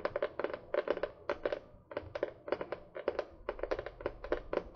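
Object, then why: Spiral-bound notebook with card cover. A small spiral-bound notebook with a printed paper and card cover, held upright, is tapped and scratched with long painted fingernails. Quick, dry clicks and papery scrapes come in short bursts with a bright edge and almost no ring.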